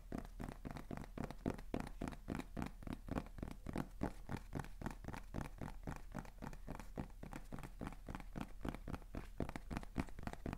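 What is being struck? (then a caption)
Small cardboard box. A small hollow beige kraft cardboard box with a white label, held in both hands, is tapped and scratched rapidly with fingertips and nails. The result is a quiet, steady stream of soft, dull, papery taps and scratches, each dying away almost instantly, with most of the sound low and hollow and very little brightness.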